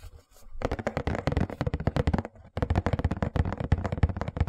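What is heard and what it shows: Fingertips and nails rapidly tap and scratch the lid of a closed, hollow white printed cardboard Hush Puppies shoe box. The result is a dense run of dull, low, hollow thumps mixed with dry scratching, with a brief pause before the tapping resumes.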